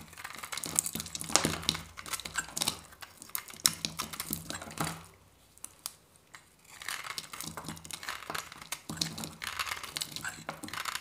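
A metal craft-knife blade shaves and scrapes a hand-held bar of dry soap with a painted yellow and white varnished surface, peeling off thin curls. The result is a dense run of crisp, bright crinkling and crunching scrapes over a faint low hum. The scraping stops for about a second and a half near the middle before resuming.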